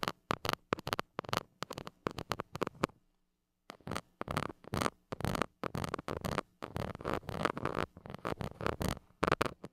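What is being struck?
Metal mesh microphone grille scraped with a plastic stick.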